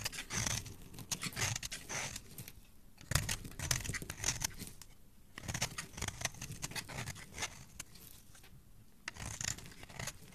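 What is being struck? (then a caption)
Bar of soap scraped with a knife. A white solid bar of soap, held in a hand with dark-painted nails, has its edge scraped and shaved with a metal knife blade. Crisp, dry scraping and shaving strokes come in repeated bursts with brief quieter pauses, bright and crackly with a soft low rustle beneath. The result is a steady, textured carving sound throughout.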